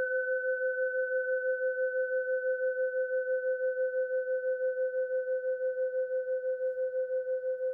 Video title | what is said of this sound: The never ending bell tolls - (well at least two minutes) | Just listen how long it rings for.